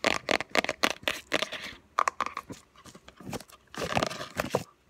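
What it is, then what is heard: Cardboard gift box. A small, closed, hollow white lidded gift box with a textured paper-covered cardboard surface and a faint embossed logo is tapped and scratched quickly with long fingernails on its lid and edges. Rapid bursts of dry, crisp taps mix with bright, papery scratching and crinkly rustles, with almost no low end and no ring after each tap. A quieter stretch of lighter scratching comes in the middle before a final dense flurry of tapping.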